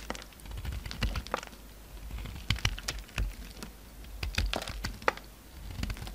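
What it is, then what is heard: Bar of soap being carved. A solid pink bar of soap held in the hand is carved and scraped with a utility-knife blade, and chunks break off. A rapid series of short, dry clicks and crisp scraping cracks comes through, some sharper and brighter than others, over a faint low rumble.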